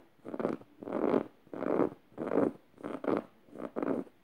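Long red nails scratch the felt mouth and tongue of a yellow stuffed emoji cushion made of plush fabric. Soft, dry rasping strokes repeat in a steady back-and-forth rhythm, their scratchy texture sitting mostly in the low midrange with a faint high hiss. Each stroke stops dead with no ring, leaving brief quiet gaps between them.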